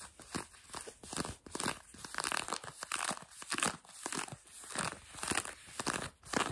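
Long fingernails on both hands scratch light blue denim jeans stretched over a knee. The result is a quiet, dry, irregular series of bright rasping strokes with short crackling bursts.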